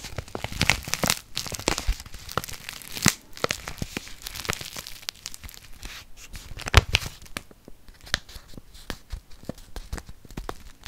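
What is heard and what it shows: A small, flat kraft-paper instant soup sachet is held up and crinkled and scratched with long fingernails. Dense, dry crinkling and tearing-like rustles mix with sharp, bright crackles and quick scratches. The bursts keep up steadily throughout the clip, with a few louder snaps standing out.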